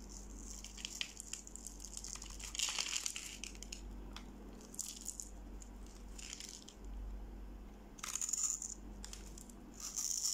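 A metal knife blade scrapes and slices small cubes off the scored face of a dry, hand-sized, pale yellow bar of soap held in one hand, above a pile of soap shavings. Crisp, bright scraping and crumbly crunching come in bursts, with the loudest flurries near the middle and end. A steady low hum runs underneath.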